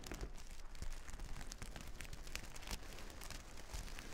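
Long nails drag through a reversible plastic sequin fabric sheet, flipping the sequins over. The result is a steady, dense crinkling scratch with quick clicky ticks and a soft, muffled low rumble underneath.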